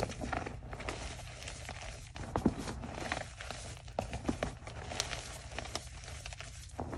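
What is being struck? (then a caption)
Gym chalk blocks (magnesium carbonate). Bare hands squeeze and rub chunks of white gym chalk (magnesium carbonate) with the fingers and palms inside a red plastic bucket, and the solid but soft, powdery blocks crumble into fine dust. The result is a steady, dry, crinkly crunching and crackling, with a few sharper crumbles standing out over a low, muffled rumble.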